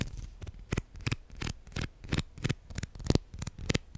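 Plastic guitar picks are tapped and handled in a quick, uneven series of sharp, dry clicks. Each click is bright and brief with almost no ring, over a soft low thud.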